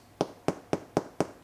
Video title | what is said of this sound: Sourdough Start to Finish & Motherhood Q&A! | if it sounds like it's hollow, you are good to go